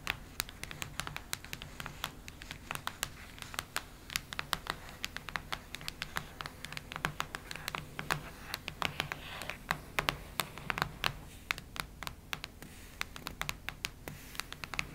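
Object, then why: Cardboard hardcover notebook cover. Long nails quickly scratch and tap the cardboard cover of a cactus-print hardcover notebook. The result is a steady stream of sharp, dry, bright clicks and scratches with almost no ring, over a faint low hum.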